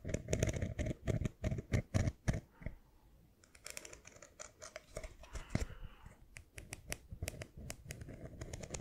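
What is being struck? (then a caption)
Small plastic screw lid. A small, round, hollow light-blue plastic screw lid with a ridged rim is tapped with fingernails and scratched along its ridges close to the microphone. It opens with a run of sharp, dull, low-heavy taps. After a brief near-silence, softer, irregular scratching and lighter clicks take over, and each hit dies away almost instantly.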